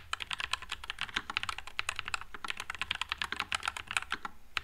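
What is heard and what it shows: Fingertips type continuously on a white low-profile Nuphy Air96 mechanical keyboard with Wisteria switches and plastic keycaps. The result is a rapid, steady stream of short, bright, clacky keystrokes centred around 2.5 kHz, with each one dying away almost at once.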